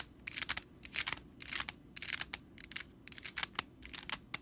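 Long nails scratch quickly across the bristles of a stitched straw whisk broom. The result is a series of short, dry, crackly rattling bursts that are bright and hissy, with almost no low end, separated by brief quiet gaps.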